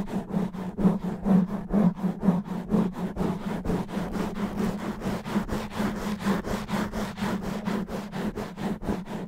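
Fingernails of both hands rapidly scratch and rub a black foam microphone windscreen. The result is a fast, steady train of rough, scratchy strokes with a low hum around 176 Hz running underneath.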